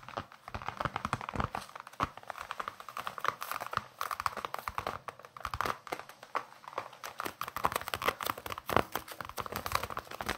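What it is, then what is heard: Leather baseball. Fingertips and nails tap and scratch the leather surface of a solid, hand-sized baseball with red stitching, held in both hands close to the microphones. A quiet, continuous stream of quick, dry taps mixes with scratchy, crinkly rubbing, concentrated in the midrange around 1 kHz. Each tap dies away almost instantly.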